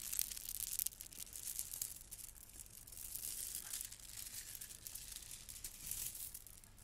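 A gold plastic bead garland is lifted and dangled, then gathered and rubbed between hands with long nails. The beads give a quiet, continuous rattle of bright, crisp clacks with little low end.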